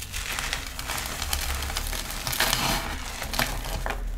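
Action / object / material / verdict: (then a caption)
scrape / cornstarch chunks and powder crushed by hand / cornstarch / none. Both hands squeeze, crush and rub pink dyed cornstarch, both powder and small crumbly solid chunks, between the fingertips and palms on a marble-pattern tray, with glittery cornstarch discs sitting untouched around the pile. A steady, bright, crackly crunching and powdery crumbling runs throughout, swelling into louder crunches around the middle and again near the end.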